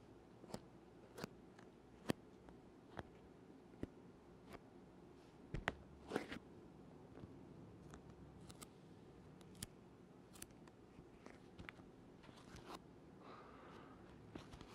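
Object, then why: Leather-covered hard instrument case. Fingertips tap a closed, hollow, black leather-look hard oboe case held in both hands, sticking to and peeling off its surface. The result is a quiet, irregular series of short, dry clicks and soft sticky crackles that stop instantly, over a low, steady background hum.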